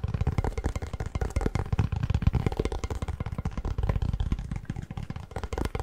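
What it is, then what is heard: Cardboard chip tube tapped. Fingertips tap rapidly on the plastic lid and the side of a hollow cardboard Pringles chip can. The result is a steady, quick stream of dull, hollow, low thumps that die away almost instantly, with very little high-end brightness.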